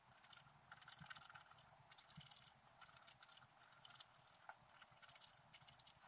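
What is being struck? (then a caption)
Scratch-art paper sheet scraped with a wooden stylus. A wooden stylus scratches the coating of a flat black scratch-art paper sheet lying on a table. The result is a quiet, bright, dry scratching made of quick repeated strokes that swell and fade, with almost no low end.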